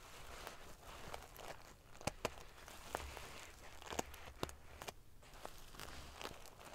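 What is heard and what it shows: Fingers and long nails scratch and ruffle the rows of silver metal pieces on a large padded metal-sequin fabric pillow. A steady, crinkly, prickly rustle is broken by sharp, bright clicks as the pieces snap against each other.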